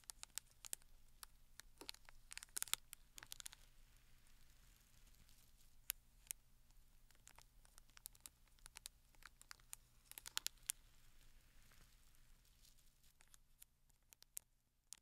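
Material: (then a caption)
Cardboard, plastic film. Fingertips and nails tap and scratch along the sides of a closed, flat rectangular cardboard Penhaligon's perfume gift box wrapped in clear plastic film, resting on a sequin cloth. Quiet, bright crinkling and scratching runs throughout, broken by many sharp, dry clicks and ticks that stop instantly. A faint low hum sits steadily underneath.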